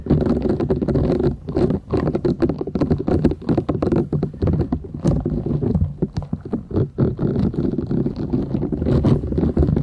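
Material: Silicone.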